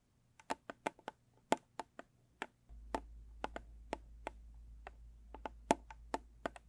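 Long stiletto nails tap and scratch the top of a small, square, rigid cardboard gift box with a closed, blue textured lid. About 22 crisp, dry clicks sound with no ring, some louder than others, amid faint scratching. A steady low hum joins partway through.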